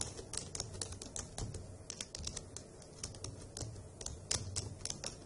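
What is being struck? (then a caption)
Plastic laptop keyboard keys. Long acrylic nails and fingertips type on the hollow key caps of a dark grey plastic laptop keyboard, producing a steady run of quick, bright clicking taps. Each tap is crisp and dies out almost instantly, over a faint low hum.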